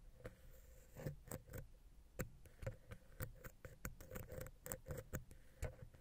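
A wooden ear pick taps rapidly in the center of the silver metal XY stereo microphone capsule on a Zoom H6 recorder. The taps are quiet, irregular and close-up, with dull low thumps and bright, clicky edges that die away almost instantly. A faint steady hum runs underneath.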